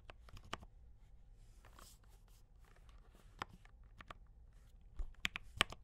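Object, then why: Mechanical keyboard with plastic keycaps. Fingertips type on a D84 mechanical keyboard with brown switches and cream and red plastic keycaps. About six quiet, sharp, bright clacks land at an irregular pace over a soft background rustle, growing louder and closer together near the end.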